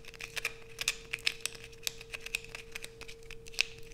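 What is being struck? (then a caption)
Bar of soap. A solid blue bar of soap, held in both hands, is aggressively scratched with long nails, scraping off a pile of fine shavings. Quick, bright, crinkly scratches and sharp clicks come in irregular bursts over a faint steady hum.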